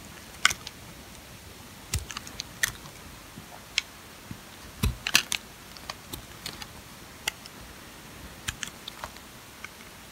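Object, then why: Bar of sulfur soap scraped with a metal blade. A metal utility-knife blade shaves and scrapes strips off the edge of an old, solid green sulfur soap bar held in the fingers, leaving curled shavings below. Short, crisp, bright scraping clicks and crackles come at irregular intervals, each dying away almost instantly over a quiet background hiss.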